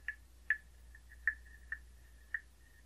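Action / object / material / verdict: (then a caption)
tap / carved wooden frog guiro / wood / none. A hollow carved wooden frog guiro is tapped with a wooden stick, giving five short, hollow knocks with a clear mid-pitched tone. A faint tone lingers between the hits over a quiet, steady low hum.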